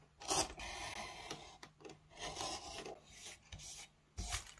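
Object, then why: Oak wooden spoon blank. A hand-held metal gouge cuts and scrapes into a solid oak spoon blank, hollowing out the bowl, with a pile of shavings beside it. Bright, raspy scraping strokes come in uneven bursts, some short and sharp, others drawn out, with a loud stroke near the end.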